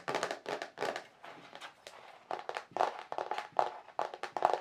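Fingertips and nails tap the surface and raised rim of a large, flat white plastic paint palette tray with dried paint marks, thin and hollow underneath. A rapid, irregular series of light, dry taps and clicks with a hollow plastic tone around 730 Hz, each dying away almost at once. Some taps come louder and sharper toward the end.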